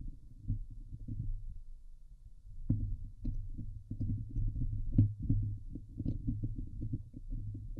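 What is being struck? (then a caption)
Steel wire-mesh microphone grille. Long glitter nails scratch the hollow steel wire-mesh grille of a Blue Yeti microphone head. The result is a dense run of deep, muffled thumping scrapes with a booming low hum and only faint bright ticks. The strokes come in quick, uneven bursts that grow stronger partway through.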